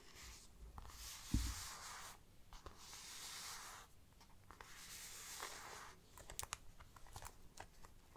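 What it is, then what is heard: Faux leather bag panel scratched. Long black nails scratch and rub the plain, grained back panel of a small, hollow, round brown faux leather bag. Three long, bright, rasping strokes sweep across the textured surface, with one low thump early on, and then give way to shorter, sharper scratches and flicks toward the end.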